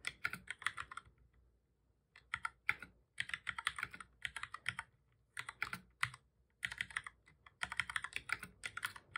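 Fingertips of both hands type on a black full-size plastic computer keyboard, producing rapid bursts of short, bright clicky key presses centered around 2 kHz. The bursts are separated by brief quiet pauses, and each click dies away almost instantly.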